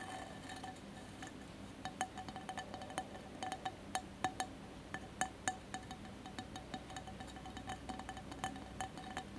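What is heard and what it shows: Fingertips and nails of both hands tap quickly on the sides of a colored mosaic glass candle holder with a lit candle inside. The result is a rapid, quiet stream of light glassy clinks, each with a brief ringing tone around 750 Hz, with a few sharper, louder taps standing out.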